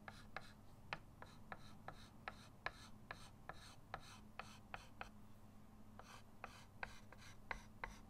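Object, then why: Chalk stick on a slate chalkboard in a wooden frame. A white chalk stick held in the fingertips scratches lines onto a flat, solid chalkboard in a wooden frame lying on a table while drawing. About twenty short, sharp, scratchy strokes tick out at an uneven, steady pace, each a quick bright rasp that dies away almost at once. A low, steady hum sits underneath throughout.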